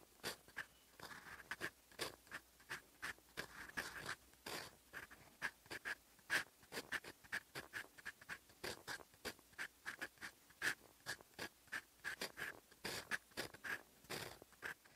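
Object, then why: Steel fountain pen nib scratching across lined paper. A fountain pen's steel nib scratches across a sheet of lined writing paper while writing in olive ink. Quiet, dry, bright scratching comes in many quick, separate strokes, with a faint whistle-like tone around 1.6 kHz on some strokes and almost no low end.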